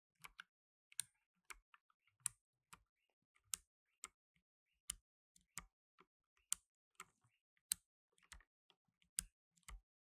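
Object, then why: Plastic mechanical keyboard keys. Blue nitrile-gloved fingertips press keys on a black tenkeyless mechanical keyboard with plastic keycaps. About 15 separate, sharp, bright clicks come at an irregular, unhurried pace. Each is quiet and dies away almost instantly, with little low end.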